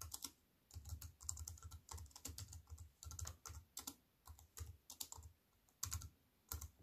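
Fast fingertip typing with long white nails on a slim aluminium and plastic wireless keyboard. Quick, clicky keystrokes come in bursts separated by short pauses, each tap pairing a soft low thud with a bright, crisp click that dies away almost instantly.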